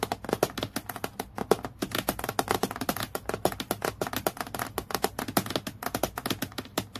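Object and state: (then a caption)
Acrylic plastic clipboard. Long nails tap rapidly on a clear acrylic plastic clipboard lying flat, making a dense run of short, crisp clicks. Each tap dies away almost at once, with a bright, hard plastic tick over a faint low hum.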